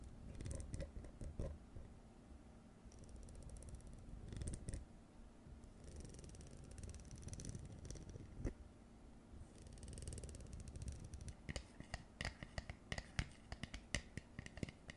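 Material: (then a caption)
Plastic. Long nails scratch and tap along the ribbed edge of a blue plastic jar lid held upright. Soft, rasping scratches over a low rumble give way to a run of quick, bright, clicky taps toward the end.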